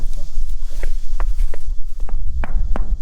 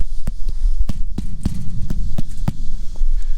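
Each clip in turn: First: hollow, empty upper section of a metal grain bin. Second: full lower section of grain bin, solid-sounding.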